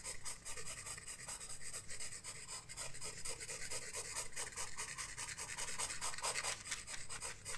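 A graphite pencil rubs and scratches across a flat paper sketchbook page during shading. Quick, steady back-and-forth strokes make a bright, hissy scraping over a faint low rumble.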